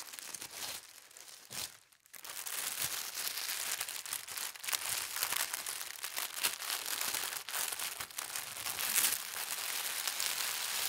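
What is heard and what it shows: A palm and fingers with long red nails smooth and rub a large, thin sheet of white tissue paper printed with gold stars, spread flat. The result is a steady, bright crinkling and rustling, with a brief quiet dip near the two-second mark before the rubbing continues.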